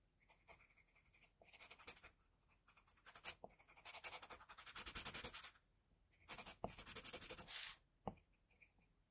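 A pencil held in a metal extender is drawn across a flat white sheet of drawing paper to sketch hair spikes and a jaw. The result is quiet, bright, scratchy strokes that come in irregular bursts of quick back-and-forth scribbling, separated by short pauses.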